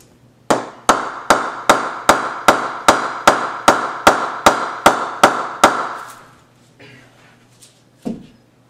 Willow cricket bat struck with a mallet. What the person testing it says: very nice ping on that one